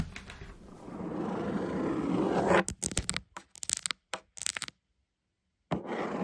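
Long acrylic nails scratch and tap on the lid of a black cardboard shoebox, close-up. A rising, rough scraping builds for about two and a half seconds, then breaks into a burst of quick, dry taps and short scratches before falling silent and resuming briefly at the end.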